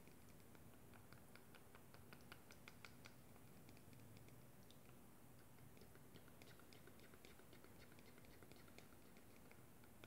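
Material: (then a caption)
Plastic. A small, hollow, clear plastic cosmetic tube with a black cap, partly filled with pink liquid, is held up close and tapped with long glittery acrylic nails. Quick, light, bright clicks patter irregularly throughout at a low level, over a steady low hum.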